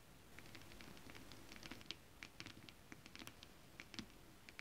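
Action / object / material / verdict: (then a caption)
tap / foil scale-print stretch fabric tapped with long nails / foil fabric / none. Long acrylic nails on both hands tap and scratch across flat, iridescent holographic mermaid scale-print stretch fabric. Quick, crisp, bright clicks land in an irregular patter over a soft, steady scratchy rustle and low hiss. Each tap dies away almost instantly, and the whole clip stays quiet.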